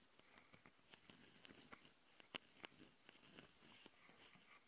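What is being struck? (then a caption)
Plastic handheld audio recorder. Long nails on both hands scratch and tap the capsules and top panel of a handheld plastic Tascam audio recorder. The result is quiet, close, irregular scratching broken by sharp, bright clicks, with two louder taps standing out near the middle.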